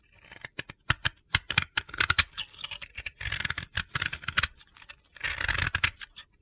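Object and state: Bath bomb being scraped.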